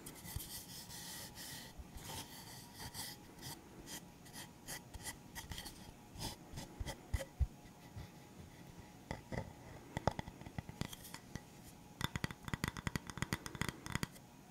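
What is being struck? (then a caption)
Round bamboo wooden stand. Fingertips and nails scratch and rub across a solid, flat round bamboo wooden stand with black rubber feet. The result is a soft, dry rasping and scraping: a steady rub early on, then quick, sharp scratch strokes that cluster into bursts toward the end.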